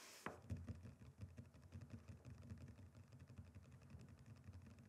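Fingertips and short nails of both hands tap fast on a flat, solid, rectangular wooden chopping board. After a brief hiss and a sharp opening click, a steady stream of dull, low, short thuds follows, with faint bright nail clicks on top.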